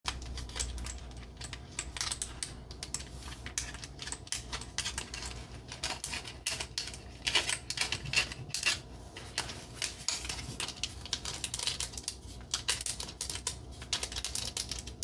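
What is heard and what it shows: A red painted wooden expandable accordion peg rack with round knob pegs and solid slats is tapped and clicked with long acrylic nails and fingertips on the pegs and slats. The result is a steady stream of rapid, bright, dry clicks and taps with very short decay over a faint low hum.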